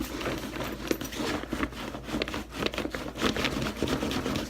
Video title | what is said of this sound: Mission Workshop Reviews Fabrics: HT500 | it's just a very crunchy feel to it um it feels synthetic